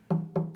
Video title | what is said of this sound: Carol Harrison- Common Ground- First Air Date March 15, 2012 | you can hear it's hollow inside so you can hear how that really Echoes